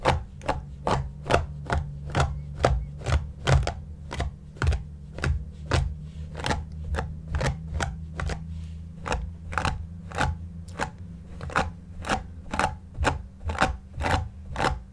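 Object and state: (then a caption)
Shaggy yarn cushion being brushed. A white flat brush is swept across the pile of a large, soft, stuffed, shaggy light-grey yarn cushion while one hand rests flat on it. About 32 short, dry, bright brushing strokes follow each other at a quick, slightly uneven pace, each ending almost at once. A steady low hum runs underneath throughout.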